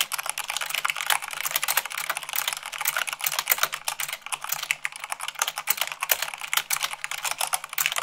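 Long pink nails and fingertips type fast, at about 98 words per minute, on a full-size mechanical keyboard with white plastic keycaps on a black frame. The result is a dense, steady stream of short, bright plastic clicks and clacks with almost no low end.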